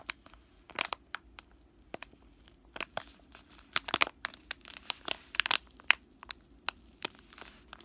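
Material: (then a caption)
Plastic. A full, soft plastic wet wipes pack is squeezed, crushed and crinkled with fingers and short nails. The result is an irregular series of sharp, bright crackles and crinkles, with some clustered bursts and almost no low end.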